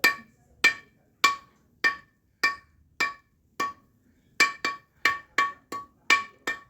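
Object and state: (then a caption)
Concrete block with a slight ring, fairly strong. A concrete building block is struck 14 times with a hammer, each hit a sharp, bright tap with a brief ring around 1.1 kHz that fades within a tenth of a second. The block gives a little ringing rather than a dull thud, indicating a fairly strong block.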